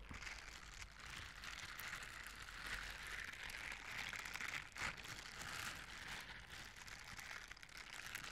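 Blue silicone bristle scrubber gloves, worn on both hands, are rubbed against each other in a scratching, brushing motion. The result is a steady, bright, crinkly scratching with dense energy around 2 kHz and above. It stays at a low level with small swells and no clear separate strokes.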